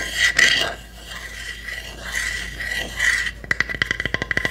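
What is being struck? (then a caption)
Small pine wood hamster house. Long nails scratch and tap the roof and sides of a small hollow pine wood hamster house. For about three seconds there is a dry, rasping scrape with a bright ringing tone near 2 kHz. It is followed by ten quick, sharp, hollow taps that die away fast.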